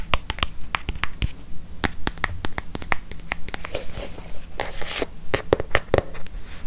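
Long fingernails tap and scratch the cover and spine of a closed, brown leather-covered notebook held up close to the microphone. Quick, irregular, sharp clicking taps come at a brisk pace, with brief hissing scratches in between.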